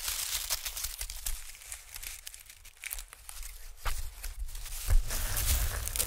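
A sheet of white honeycomb packing paper is waved, rubbed flat with fingertips, then stretched between hands. It gives a dense run of crinkling, papery rustles and soft tearing-like crackles over a low rumble, with a louder burst of crinkles near the end.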